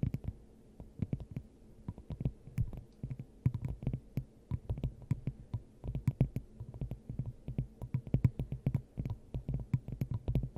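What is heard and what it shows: Long acrylic nails on both hands tap rapidly across a clear, hand-sized hollow glass dome fitted over the top of a microphone. The taps land in quick, uneven bursts throughout, each a short, deep, hollow thump around 120 Hz with a faint bright click on top and almost no ring.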